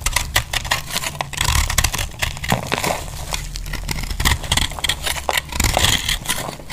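A metal utility knife cuts and scrapes a solid, palm-sized, heart-shaped bar of dry orange speckled soap held in the hand, so it crumbles into chunks. Dense, bright crackling scrapes and crunches come in rapid bursts over a low rumble.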